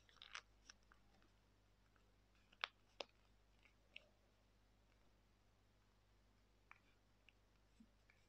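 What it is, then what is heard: Folded paper being creased. A small folded piece of thin white printer paper is held in both hands while fingertips and thumbnails pinch and crease its folds, rubbing and crinkling it. Short, bright, crisp crackles and snaps come at irregular intervals, with the sharpest ones clustered near the start and middle. Quieter papery rustles fill the gaps over a faint, steady low hum.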